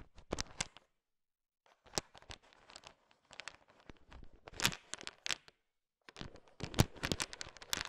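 A heap of small, hard, sugar-shelled candy-coated peanut M&Ms is stirred with a thin wooden stick. The candies shift and click against each other in bursts of sharp, bright ticks and rattles, with brief silent pauses between the bursts.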